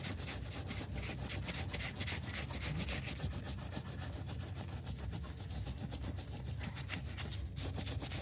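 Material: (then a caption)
Fabric. Gloved hands scrub a dirty, wet, foamy cartoon-cat plush toy with a soft fabric, solidly stuffed body using a stiff brush. A steady, rhythmic bristly scrubbing and rubbing continues throughout, with a bright hiss over a heavy low rumble.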